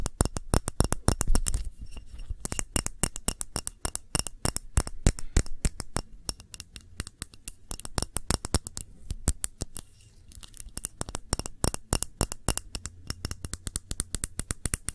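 A short glass candle jar filled with red candle wax is tilted, tapped and scratched with long nails. Rapid, irregular clicks and taps patter throughout, each dying away almost instantly, with a faint glassy ring above them and scratchy friction in between. A dull low thump sits under the taps.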